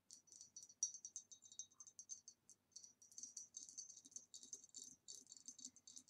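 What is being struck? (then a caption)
Ribbed glass vase. A hollow, ribbed green glass vase standing upside down is tapped with long nails on its base and sides. The result is a quiet, rapid series of bright, high clicking taps with a faint glassy ring that dies away almost instantly.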